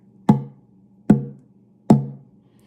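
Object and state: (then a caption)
Thinned cedar oud soundboard that rings. The cedar soundboard of an oud, thinned down from about 3.8 mm, is tapped three times. Each tap gives a sharp knock that settles into a short, warm tone centered low around 200 Hz. The thinned top now rings.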